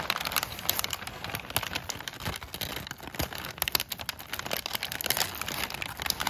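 A large sheet of crumpled brown kraft packing paper is crinkled and rubbed with fingertips and short nails. It makes a steady stream of bright, crackly crinkles and sharp snaps with very little low end, each one dying away almost instantly.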